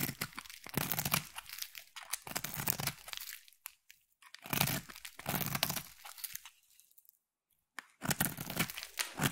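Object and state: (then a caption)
Bar soap carved with a knife. A metal utility knife blade carves thin curls from a hand-sized solid pink bar of soap, producing dense, crisp crunching and tearing scrapes with bright texture. The scraping comes in bursts of strokes, with brief quiet pauses around the fourth and eighth seconds before resuming.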